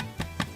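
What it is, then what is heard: Hollow-sounding baked bread loaf (cooked through). Two hollow taps on the bottom of a golden-brown sweet yeast Easter egg bread loaf, baked 35 minutes at 180 degrees. Each tap gives a short, low thud that dies away quickly. The hollow sound shows the loaf is baked through.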